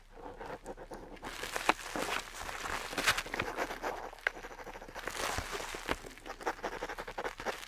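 A metal dip pen nib scratches ink lines across a flat, aged-look parchment-style paper sheet. The sound is a steady run of dry, bright scratching strokes with short rasps and a few sharper ticks, fading quickly between strokes with little low end.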